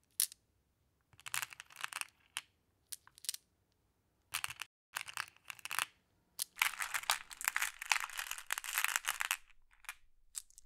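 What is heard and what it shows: Long blue-painted nails and fingertips scoop, sort and drop a pile of small solid flat glass pebbles (blue, clear, amber and black) in a large wooden tray, letting them clack together. Short bursts of bright, crisp clicking and clattering are separated by silences, then build into a longer continuous rattle of glass on glass. It fades back to a few scattered clicks.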